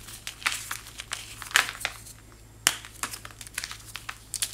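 A white, chalk-like block is broken and crumbled between fingertips into small chunks and fine powder. It makes dry, bright, crackly crumbles in irregular bursts, with a few sharper snaps standing out over a faint steady low hum.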